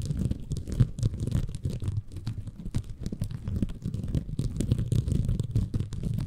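A small, soft, compressible green bamboo fiber sponge, held in both hands above a Tascam recorder, is scratched and squeezed by fingertips. It makes a dense, continuous run of low, muffled crunching and rustling with many quick, short scratches. The sound is heavy in the low end, with little brightness.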